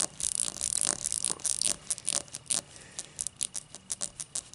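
Long matte dark nails scratch and tap the thick starburst-cut base of an empty, hollow, clear cut-crystal tall glass. Dense, bright scratching comes first, then quieter, separate sharp taps in an uneven rhythm. Each tap is dry and high, with almost no ring.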